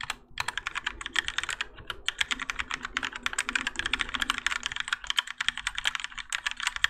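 A Keychron K4 compact mechanical keyboard with grey and orange ABS plastic keycaps and Gateron Yellow switches, in a plastic and metal case resting on a desk mat, is typed on continuously with the fingertips of both hands. Rapid, bright clacks with very short decay come in an unbroken run, with brief pauses around the first and second marks.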